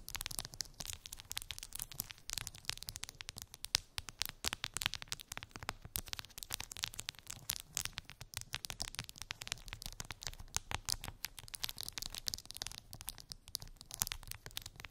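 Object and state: Plastic phone case with resin charms, nail tapping and scratching.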